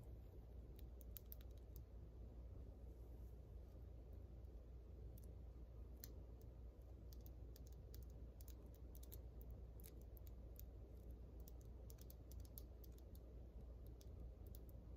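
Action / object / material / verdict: tap / acrylic press-on nails / acrylic / none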